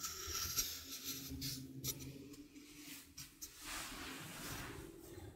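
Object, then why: Small stainless steel sink strainer. A small hollow stainless steel sink strainer is held in the hand while its rim is tapped with fingertips and nails. The result is a quiet, irregular series of light taps and scratchy clicks with a bright, high metallic shimmer that fades quickly, over a faint low hum.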